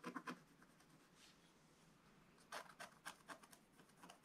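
A wooden stylus held in the fingers rubs and scratches the black coating off a scratch-art paper page. Three quick, crisp scratches open the clip, followed by a long stretch of faint, soft rubbing. A rapid series of sharp, bright scratching strokes then runs to the end.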